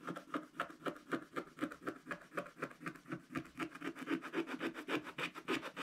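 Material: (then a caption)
Coated card. A wooden stylus rubs and scratches across the tractor area of a black-coated scratch-art card page in a spiral book. It makes a steady run of quick, dry scratching strokes, about four per second, with a mid-range body around 330 Hz and a light, gritty top. Each stroke dies away almost at once.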